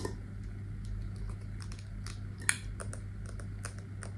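A wax-filled glass candle jar with a brown metal lid is tapped and scratched with long nails on the lid and base. Quick, light clicks and faint scratches come in a loose run over a steady low hum, with one sharper, brighter tap standing out partway through.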